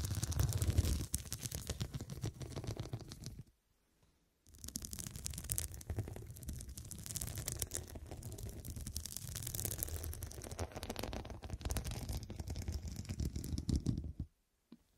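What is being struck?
Soft pillow covered in glass studs.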